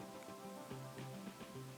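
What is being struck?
Nothing is struck.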